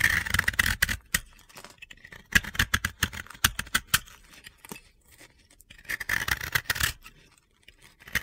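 The remaining half of a blue-yellow pressed-powder bath bomb disc is held in the hand and scraped with a metal utility-knife blade. Quick, dry, gritty scraping strokes come in clustered bursts with brief quiet gaps between them, each stroke short and bright with no ring afterward.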